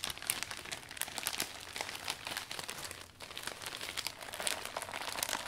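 Hands grip, fold and rub the thin iridescent vinyl canopy of a new closed umbrella, folded around its metal shaft, while cleaning it. The result is a steady stream of bright, dry plastic crinkles and crackles with almost no low end and a brief lull near the middle.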